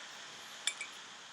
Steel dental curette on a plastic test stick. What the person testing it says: También se escuchará un sonido metálico cuando se retire el instrumento